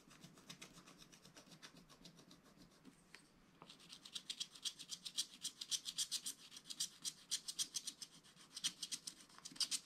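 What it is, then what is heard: Scratch-art paper being scratched with a wooden stylus. A wooden stylus scratches the coated surface of a scratch-art card page in a spiral book, near the drawn zebra and trees. Soft, rasping strokes come first, then after a brief lull they turn into a faster, louder run of short, bright, dry scratches at about three to four per second.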